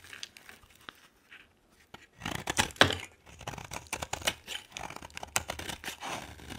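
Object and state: Bar of soap being scraped.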